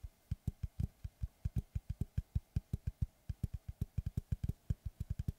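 A large, round, solid wood tree-slice board with a bark edge, held upright behind the microphone, is tapped and scratched with fingertips and short nails. About 33 short, dull, low thumps come in an uneven, quick rhythm, each dying away almost at once, with faint bright clicks at the attack.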